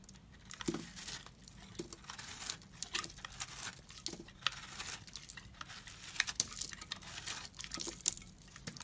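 A metal utility blade shaves flaky crumbs off a large pink-and-white, porous, dried-out soap block held in the hand. Bright, crunchy scraping and crackling come in uneven bursts with sharp ticks. The sound has almost no low end and no ring.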